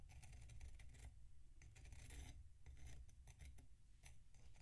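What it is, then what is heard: Packed sand block scraped with a knife. A metal knife scrapes the crunchy surface of a large solid block of packed sand resting on a plate, while the other hand steadies the block. Repeated rasping, gritty scrapes come in bursts of bright, crackly texture separated by brief quieter pauses, over a steady low rumble.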